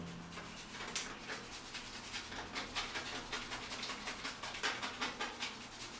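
A purple plastic toothbrush is scrubbed briskly back and forth along exposed, rusted steel rebar running diagonally through a spalled, solid concrete ceiling with rough aggregate. It makes bright, gritty scratching bursts that repeat at an uneven rhythm of roughly two to three strokes per second, over a faint low hum.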